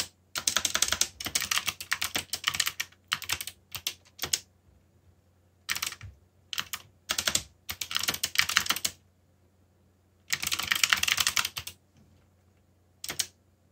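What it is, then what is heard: Plastic mechanical keyboard being typed on. Fingertips type on a backlit full-size mechanical keyboard with black plastic keycaps, one finger wearing a bandage. Bursts of quick, bright plastic key clicks come in clusters separated by short pauses, with a faint low hum underneath.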